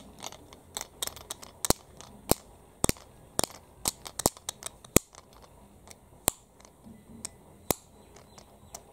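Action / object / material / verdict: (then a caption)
tap / flat plastic keychain tag with steel split ring / plastic / none. Long fingernails tap and handle a flat, solid, hand-sized yellow plastic keychain tag with a printed portrait and a steel split ring, held in both hands. About twenty sharp, dry clicks ring out over a faint rustling background, each with a bright attack that dies away almost instantly, and the metal ring may add a light jingle.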